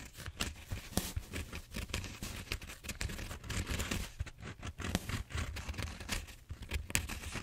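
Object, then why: Bead-foam styrofoam roller. Fingertips and nails scratch and crinkle the surface of a large purple bead-foam styrofoam foam roller, a solid cylinder held diagonally against the head. A steady run of dry, crackly scrapes and squeaky crinkles with bright hiss sits over a soft, low rumble, with many short bursts overlapping throughout.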